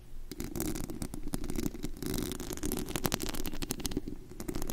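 Long acrylic nails scratch and tap across the bare perforated metal mesh grille over the hollow head of a large studio USB microphone, picked up directly at high gain. The result is a dense, continuous run of scratchy, crackling contact with rapid taps and a strong low, boomy handling rumble underneath.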